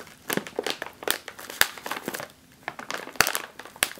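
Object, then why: Sealed metallized plastic chip bag. A sealed, puffed metallized foil chip bag resting on a table is tapped and patted with fingertips and nails, then pressed. Irregular, dry crinkles and sharp clicky taps follow one another, bright and crackly with almost no low end. Each sound stops at once with no ring.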